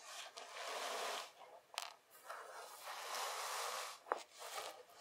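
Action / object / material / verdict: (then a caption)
scrape / loose kinetic sand worked by hand / kinetic sand / none. Loose kinetic sand is gathered and pressed into a mound with both hands, making soft, hissy rustling and scraping that swells and fades in long strokes. A few brief, sharp clicks cut through the quiet, bright, grainy texture.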